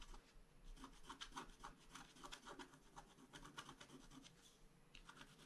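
A bamboo stylus scratches across a flat scratch-art card page in quick, irregular strokes. Each stroke gives a soft, dry rasp, with short bright bursts over a faint steady hiss. The scratching stays quiet and continuous throughout.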